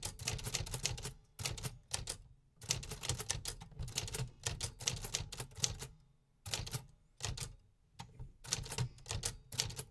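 Fingertips type on the keys of a large, hollow, beige metal 1950s typewriter, producing steady, sharp typebar clacks. The clacks come in rapid bursts separated by short pauses, with a bright attack over a hollow low body and quick decay.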